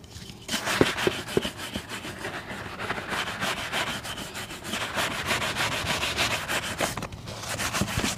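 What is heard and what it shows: A brown leather boot is brushed with a wooden-backed bristle shoe brush in quick, uneven back-and-forth strokes. Each stroke gives a dry, scratchy swish that is bright and hissy with little low end, and a few sharper brush knocks stand out near the start.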